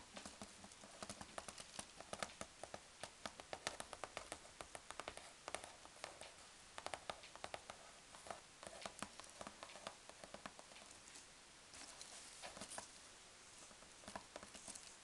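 Long dark-painted nails tap and scratch on the top flaps of a closed large corrugated cardboard box filled with packing peanuts. Dozens of quick, dry, papery taps, with short scratching rustles between them, fall in an uneven rhythm. Each tap dies away almost at once, and the sound is quiet and bright with little low end.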